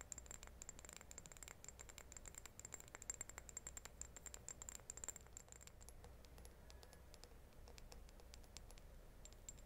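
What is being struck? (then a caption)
Small glazed ceramic vase. A small, hollow, white glazed ceramic reed diffuser vase holding wooden reeds, which are left untouched, is held in both hands and tapped and scratched with long painted nails. Quick, bright clicking taps overlap with scratchy friction over a low hum and a faint, steady high tone. The tapping is densest and sharpest in the first six seconds, then settles into softer, sparser scratching.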